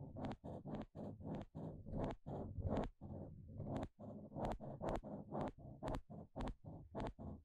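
A pale green plastic pick scratches across the fine teeth of a small blue plastic comb in about nineteen quick, separate strokes. Each stroke makes a dry, rattling, zipper-like buzz with a low-pitched body and bright upper edges, with short gaps between strokes.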